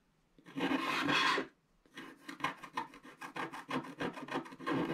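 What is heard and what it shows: A wooden stylus scratches the background off a black wax-coated scratch art card lying flat, working on the right side. One long, dry, raspy scrape is followed by a short pause and then a quick run of brisk, bright scratching strokes.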